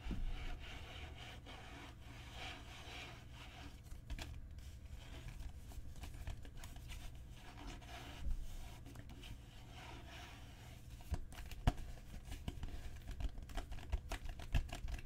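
Fingernails scratch and rub across a solid, dark brown genuine leather book cover. The result is a quiet, continuous dry scratching texture over a low, steady rumble, broken by a few louder, sharp ticks and taps toward the end.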